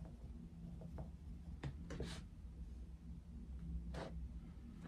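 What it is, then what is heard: Coloured pencil shading on paper. A dark wooden coloured pencil is rubbed repeatedly across a paper colouring book page on a desk, shading in an area of a Mickey Mouse picture. Soft, scratchy pencil strokes rise in short brighter bursts over a steady low hum, giving a quiet, continuous shading sound.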